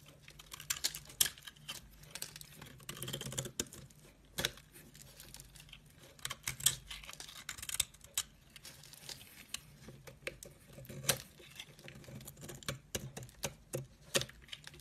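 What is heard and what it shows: A metal blade scrapes thin curls off a solid cream soap bar held over a pile of shavings. The result is a steady series of soft, bright, crisp scraping and crackling sounds that stay mostly in the high range. A faint low hum sits underneath.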